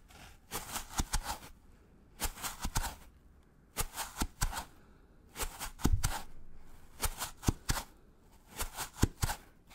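A white polystyrene foam packaging block is held upright while a gloved fingertip scratches its side. Six separate bursts of dry, squeaky, bright scratching come in short clusters of quick strokes, with brief quiet gaps between them.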